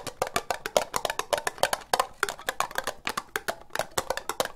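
Long nails tap fast on the outside of a hollow, empty orange ribbed plastic cup, producing about 28 sharp, hollow clicks in an uneven, rapid rhythm. Each tap is dry and brief with a mid-pitched knock around 600 Hz and a bright edge, dying away almost instantly.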